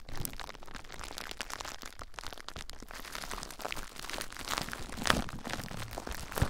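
Clear plastic bubble wrap wrapped around a recorder is pressed, scratched and popped by fingertips with short nails. The result is a dense, continuous stream of crinkling and crunching with sharp cracks throughout, and a few louder pops stand out near the end.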